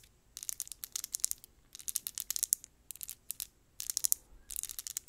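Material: Cardboard.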